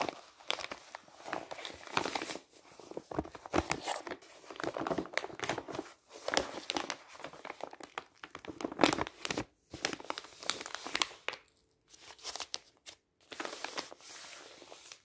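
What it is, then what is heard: Kraft paper envelope. An empty brown kraft paper envelope is opened and unfolded, then flattened and rubbed with the palm and fingertips. Dense, dry crinkling and crackling rustles come in quick bursts with short pauses, bright and papery with almost no low end.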